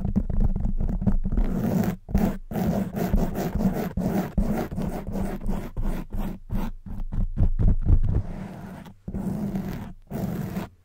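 Long white nails on both hands scratch and rub a black foam windscreen covering a silver microphone head. The result is a dense run of muffled, bassy scraping strokes in quick, uneven bursts, with short silent gaps between some of them.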